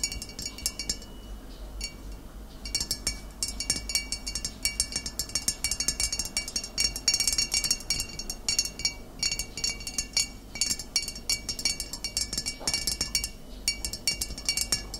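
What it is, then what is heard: Glass vinegar bottle. A full glass vinegar bottle with amber liquid and a label is tapped on its upper glass sides with the fingernails of both hands. Rapid, irregular clicks and bright glassy clinks ring briefly with a steady high pitch over a quiet background, sometimes thinning out and then building into dense flurries.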